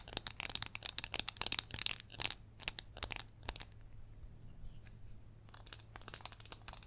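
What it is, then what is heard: Glitter-coated glass candle jar. A gold glitter-coated glass candle jar filled with white wax is tapped and scratched on its rim, sides and base with long yellow acrylic nails. Quick, dry, bright clicks and gritty scratches come in dense bursts, then thin out into quieter scraping with a few scattered taps before picking up again at the end. A low steady hum runs underneath throughout.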